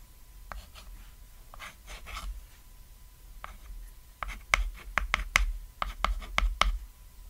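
A white chalk stick draws short strokes across a flat, solid cat-shaped painted chalkboard, writing and scratching on the surface. Soft, scratchy strokes come first, then sharper, brighter chalk clicks and scrapes follow in quick succession, each dying away almost at once.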